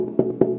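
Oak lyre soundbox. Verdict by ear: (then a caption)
Hollow. Two taps on the oak soundbox of a reconstructed early medieval lyre, which looks like a thin solid plank but is a closed box with no sound holes. Each tap gives a short, hollow knock centered near 375 Hz that fades within a fraction of a second, showing the body is hollow inside.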